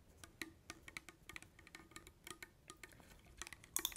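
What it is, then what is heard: Metal soup can tapped with fingernails. A small Campbell's soup can, a metal tin with a paper label and likely full, is held in the hand and tapped with long acrylic nails. A quick, irregular run of quiet, dry clicks follows, each bright and tinny with a faint ping near 3.5 kHz that dies away almost instantly. The louder taps cluster toward the end.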